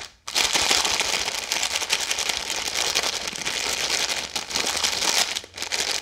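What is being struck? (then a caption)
Plastic-film snack bag. A full red plastic-film Maltesers snack bag is crumpled and squeezed fast between hands with long yellow nails. It makes a dense, continuous, bright crinkling and crackling with almost no low end, dipping briefly twice near the end before picking back up.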